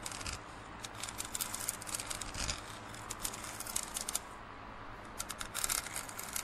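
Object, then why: Plastic drinking cup. Fingernails scratch along the printed surface of a large, hollow, empty plastic drinking cup lying on its side. The result is quiet, dry, bright scratching that comes in quick, irregular bursts and rasps, with a faint low rumble underneath.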